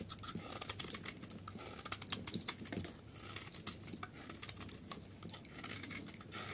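A solid, bright yellow, hard dry soap bar held in the hand is shaved and carved with a metal utility knife blade, with flakes falling away. Dense, crisp scraping and scratching fills the clip, broken by sharp, bright crackling ticks that peak and ease off at a steady, quiet level.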